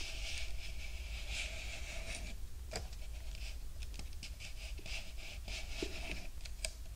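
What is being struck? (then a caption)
Large paper drink cup. A large, hollow Burger King paper drink cup, held in both hands in front of a binaural microphone, is tapped with long nails. Quick, bright clicks and light scratchy rubbing run over a steady low rumble throughout.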